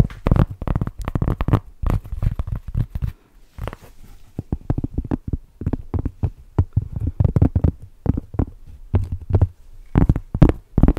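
A large, flat, round solid cork trivet is tapped and scratched with long nails and fingertips close to the microphone. The result is a dense run of soft, dull, low-heavy taps and short scratchy bursts that die away almost instantly, with a few brief pauses between flurries.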